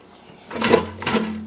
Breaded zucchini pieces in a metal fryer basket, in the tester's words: They're not falling off. The breading's not coming off.